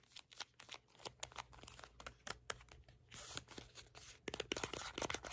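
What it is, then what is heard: Cardboard box. Nails scratch and tap the printed surface and edges of a hollow red cardboard product box held in both hands. The result is a quiet, dry run of short, bright clicks and papery scratches that ends in a denser cluster of sharp taps.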